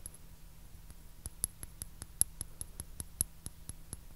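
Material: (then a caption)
Porcelain. A white porcelain teacup with blue flowers, held upside down, hollow and empty, is tapped with fingertips and nails. About fifteen quick, light taps each give a brief, very short bright click over a faint steady low hum.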